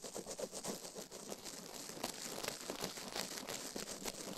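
A plastic toothbrush is brushed and scratched fast across the silicone ear of a binaural microphone. It makes a steady, bristly scratching hiss that is bright and airy with almost no low end, pulsing with rapid uneven strokes that never fully stop.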